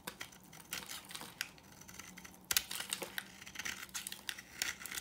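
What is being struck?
Bar of soap.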